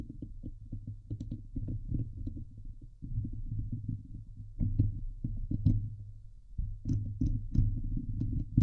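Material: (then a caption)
Metal mesh. Both hands scratch the hollow metal mesh dome grille of a Blue Yeti microphone with long nails, producing a dense run of rapid, boomy low thumps and rubbing. Occasional bright crackly ticks cut through, with the level swelling and easing in bursts across the clip.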